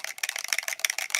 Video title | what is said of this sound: Live Unboxing and Chat | you shake it like side to side you can hear it in there